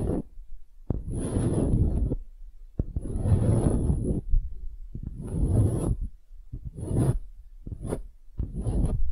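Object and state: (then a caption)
Wooden half sphere. A small, solid light-wood half sphere held between the fingers is tapped and scratched with long glitter acrylic nails. Repeated bursts of dry, rasping scratches rise and fade, heavy in the low end with a faint high hiss, separated by short quiet gaps.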